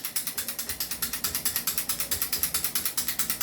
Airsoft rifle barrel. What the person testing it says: Kumakalog, ayan, o.